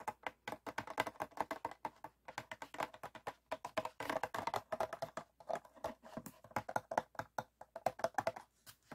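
Fingertips and nails tap and flick the ribbed wall of an empty, clear PET water bottle standing upright, with a foam sheet in the background left untouched. A fast, steady run of short, dry, hollow plastic clicks and taps fills the clip, each dying away almost instantly, with a midrange tone around 740 Hz.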